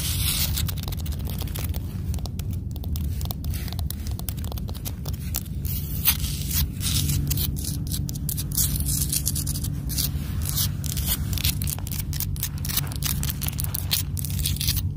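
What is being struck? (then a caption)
Granite boulder. Long blue acrylic nails rapidly scratch and tap the rough surface and edge of a large, solid grey granite rock outdoors. Dense, bright, crisp scrapes and clicks sit over a steady low rumble that dominates the sound throughout.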